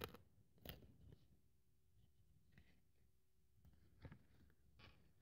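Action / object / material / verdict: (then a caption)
scrape / thin polyethylene foam sheet cut with a blade / polyethylene foam / none. A craft scalpel blade cuts and scratches through a thin white polyethylene foam sheet held flat on a wooden table. Short, dry crunching and scraping strokes come at irregular intervals, with brief bright edges over a soft low thud. Faint quiet pauses and a steady low tone sit between the strokes.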